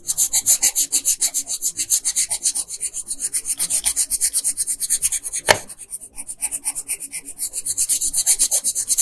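A red colored pencil rubs back and forth in rapid, repeated strokes across the dress area of a flat printed paper coloring sheet. It makes a steady, bright, scratchy rasp that pulses with each stroke. Near the middle comes a single sharper tap and a short lull before the strokes resume.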